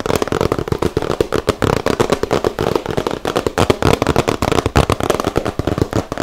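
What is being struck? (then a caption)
Small cardboard box. A small, hollow, rectangular yellow cardboard gift box is held in both hands and tapped and scratched with fingertips and nails. The result is a rapid, steady stream of crackly taps and scratches with a hollow, low-mid body. Each tap dies away almost instantly.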